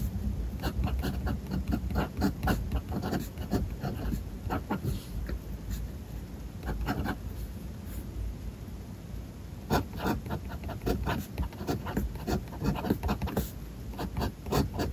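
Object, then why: Metal pen nib on a paper notebook page. A metal fountain-pen nib scratches across a white paper notebook page on a desk as handwriting is written line by line. Quick, dry scratching strokes and taps come in bursts, with a softer, quieter stretch near the middle before the writing picks up again.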